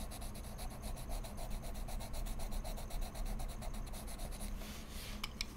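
A wood-cased colored pencil point is rubbed and scratched across a large flat sheet of heavy mixed media paper in a sketchbook with solid backing, in short coloring strokes. Quick, steady, rhythmic scratchy strokes carry a bright papery hiss over a low background rumble. Near the end, the strokes turn into a smoother rub, broken by a couple of sharp ticks.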